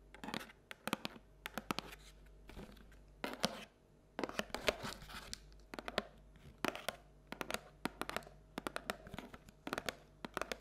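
Long nails scratch and tap the wall and base of a paperboard Halloween treat bucket, which is held and tilted so its bottom shows. Quick dry clicks and taps, about 40 in all, are broken up by short rasping scratches, with a thin, papery tone running from low-mid up into bright highs.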